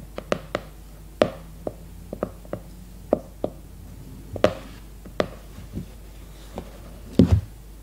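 Long red nails tap the glossy cardboard cover of a leopard-print hardcover notebook, first held upright and then laid flat on a placemat. About fifteen short, dry taps come at an irregular pace over a faint background hum. Each tap has a hollow, woody knock and dies away almost at once, and the last few are a quick, heavier cluster.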